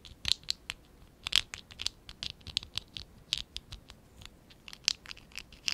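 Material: ABS plastic.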